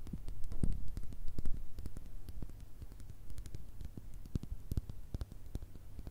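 A small glass Nutella jar with a white plastic lid, full of spread, is tapped and scratched with long red nails. Quick, irregular, dry clicks with bright ticks land over a low, soft thud and faint scratching, each tap dying away almost at once.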